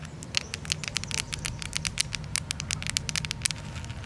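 Very long, curved purple nails on both hands tap and scratch a large, solid, pinkish-red granite boulder with a rough surface. The result is a rapid, irregular patter of sharp, bright clicks and crackly scrapes, each dying away almost instantly. A steady low rumble sits underneath.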